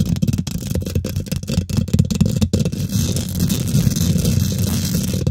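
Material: Metal mesh.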